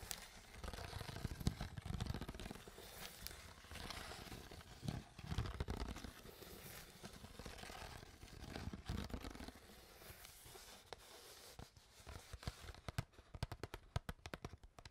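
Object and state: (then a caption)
Plastic water bottle. An empty, crinkled, hollow clear PET plastic water bottle is squeezed and tapped with long nails. Quiet, dense crinkling and crackling rise and fall, with soft, low hollow thumps. Toward the end come sharp, bright nail taps that stop almost at once.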